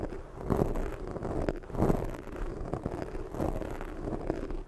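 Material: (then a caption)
Foam. A black foam microphone windscreen is scratched with long fake nails, then rubbed and cupped with fingertips. Dense, close, low scraping and rustling with muffled, wind-like swells fills the whole clip, peaking in soft bursts without clearly separated hits.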